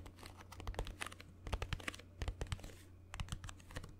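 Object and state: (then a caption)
Cardboard box tapped and scratched. A small green Instax mini film box made of printed cardboard, hollow, is held close to the mic and tapped and scratched with fingernails. Quick dry clicks and scratchy crinkles come in clustered bursts over a steady low hum. The taps are short and sharp with almost no ring.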